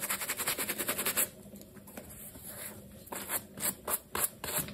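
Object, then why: Leather sneaker scrubbed with a bristle brush. A wooden-handled bristle brush scrubs back and forth over an empty black leather sneaker lathered with cleaner. Quick, bright, hissing brush strokes come in a rapid rhythm, ease into a softer, quieter rubbing, then pick up again in louder bursts.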